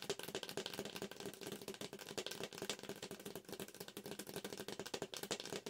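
A yellow McCafé paper drink cup with a dark plastic lid and straw, hollow, is held up close and tapped fast on its side with long acrylic nails. The result is a rapid, steady stream of crisp, clicky taps with a light hollow tone around 450 Hz. Each tap dies away almost at once.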